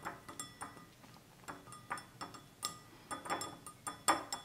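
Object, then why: Small glass tumbler. A small, empty, stemless drinking glass of clear glass with a red-tinted base stands on a table while both hands tap its sides with fingertips and nails. The result is an irregular series of light, clinking taps, each with a short bright ring centred around 1.2 kHz that dies away in about a tenth of a second.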